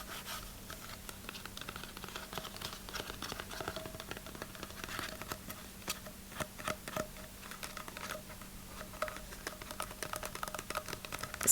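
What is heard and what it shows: Dense, rapid tapping and scratching on the thin cardboard inner tube of a finished paper towel roll, producing dry, papery clicks and scrapes. The sound is bright and crisp with very short decay, with the taps running close together in a steady, busy stream.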